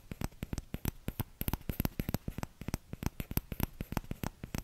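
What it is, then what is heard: Plastic ladle. Fingertips tap the empty bowl of a small orange plastic ladle right next to the microphone in a quick, uneven run of taps. Each tap is a short, dry, low thud with a faint bright click on top. There is almost no ring after any tap.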